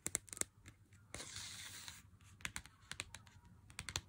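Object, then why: Chocolate bar in a cardboard sleeve. Fingernails tap and scratch the front and edge of a handheld Lindt chocolate bar in its cardboard sleeve. About fourteen sharp, bright clicks land in quick clusters, broken by a steady, hissy scrape of nails across the cardboard. Each tap dies away almost instantly.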